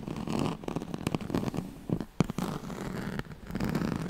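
Long nails scratch the ribbed surface of a yellow striped, woven oval pad made of straw-like fabric. A dense, low, rasping scrape rises and falls in bursts, broken by sharp dry clicks and crackles.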